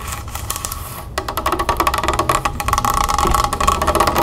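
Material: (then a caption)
Plastic. Long red nails tap rapidly on the labelled plastic body of a large Mineragua club soda bottle, partly full of water and standing on a wooden table. The taps are quick and uneven, with a hollow, clicky ring around 1.1 kHz. They start soft and grow louder and denser after about a second.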